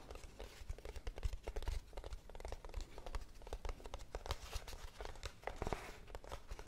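A small, hollow brown cardboard box is held up and scratched and tapped on its flat side with long blue-painted nails. The result is a dense, quick run of dry taps and scratchy rustles, with soft hollow low thumps under crisp, short clicks that die away instantly.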